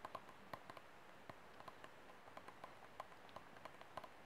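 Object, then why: Thin disposable plastic cup. Fingertips and nails tap and scratch along the thin wall of an empty, hollow white disposable plastic cup held sideways. About sixteen quiet, sharp taps sound, each a brief hollow click pitched near 1 kHz that dies away almost instantly. A faint, steady hiss of scratching runs underneath.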